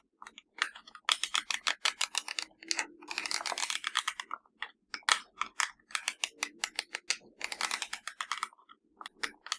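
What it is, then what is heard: Plastic remote control, buttons tapped and pressed. Fingertips and nails tap and press the buttons of a hollow black plastic universal TV remote control, producing a rapid, uneven run of dry, bright clicks with almost no ring. A denser, scratchier burst around the middle briefly blurs the taps together before they return to separate quick clicks.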